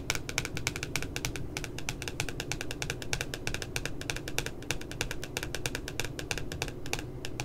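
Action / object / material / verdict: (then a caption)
tap / glossy cardboard notebook cover / cardboard / none. Long nails tap rapidly on the left side of the glossy cardboard back cover of a spiral notebook with a cute puppy design. The result is a steady stream of short, crisp, bright clicks that die away almost instantly, over a low, soft background rumble.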